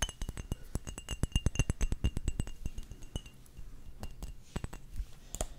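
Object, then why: Glass perfume bottles. Glass perfume bottles from a collection are tapped in quick, irregular succession, each tap a short dull knock with a faint bright glassy clink on top. The taps come densely and loudest through the first half, then thin out and grow quieter before a few sharper clinks near the end.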